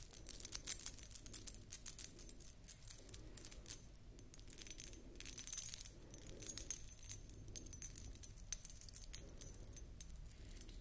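A beaded wire collar necklace with metal dangles is held up and turned in both hands while long nails scratch across the beads. Its metal discs clink and jingle in quick, dense bursts of bright, high tinkling with short ring, over a faint low rumble. The clinking runs continuously, swelling and fading as the necklace is turned.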